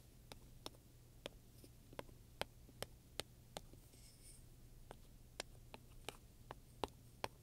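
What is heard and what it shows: A wooden pointer taps and scratches across the front of a black leather handbag with metal studs, buckles and straps. About fifteen short, sharp clicks with a bright edge come at an uneven pace, sounding soft and hollow over a quiet, steady low hum.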